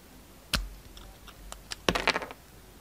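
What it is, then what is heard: Bar of soap being shaved. A utility knife blade shaves the red and gold outer layer off a solid pink bar of soap held in the hand. A sharp scraping crack is followed by fainter scratches and then a quick cluster of crisp, bright cutting clicks and scrapes.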